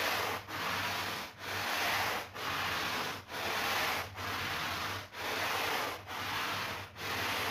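A push broom with stiff bristles scrubs a flat woven, ladybug-shaped rug covered in soap foam on a tiled floor, moving in straight strokes. A steady, bright rasping scrub runs through each stroke, broken by short dips in loudness where the broom changes direction, at a regular, unhurried pace.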